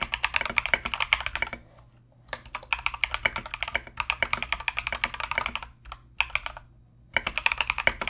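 Both hands type continuously with their fingertips on a compact mechanical keyboard fitted with Mozano EVE switches and plastic Knight King SA keycaps. Quick, bright, clacky keystrokes with very short decay come in dense bursts separated by a few brief pauses.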